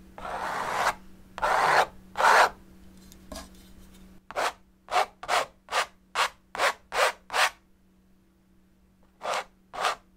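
A metal palette knife repeatedly scrapes and rubs thick oil paint along the surface of a large painted stretched canvas. Three longer raspy scrapes give way to a run of quicker, shorter strokes, then a pause and two final strokes, over a faint, steady low hum.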